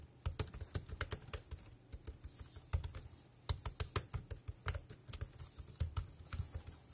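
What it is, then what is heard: Plastic keyboard being typed on. Fingertips type on a dark grey plastic wireless keyboard with round keys, producing about twenty-two quick, uneven taps over seven seconds. Each keystroke is a short, dry click with a soft low thud beneath a bright tick, dying away almost instantly, all at a quiet level.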